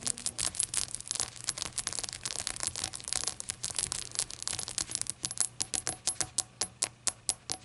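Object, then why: Small glazed ceramic shot glass. Long acrylic nails tap rapidly on the glossy glaze of a small, hollow, rainbow-glazed ceramic novelty shot glass that appears empty and stands upright on a towel. The taps are sharp, bright clicks with almost no ring, in a dense flurry that slows into separate, evenly spaced taps near the end.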